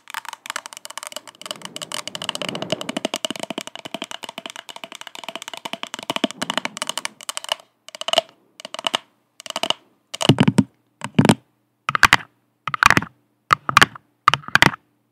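Long acrylic nails tap fast on the sides and base of an empty purple plastic party cup held upside down. For about seven seconds the nails rattle in a dense, continuous stream of bright, clicky, hollow taps. The tapping then breaks into short, separate bursts with silent gaps between them.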